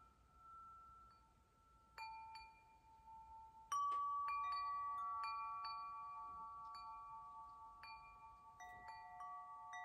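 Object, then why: Metal tube wind chime. A hollow metal tube wind chime is held up by its string while a hand shakes it and strikes the tubes. Clear, bell-like tones ring out around 1.1 kHz, with bright overtones. The struck notes overlap and sustain for several seconds, layering into a shimmering, slowly fading chord.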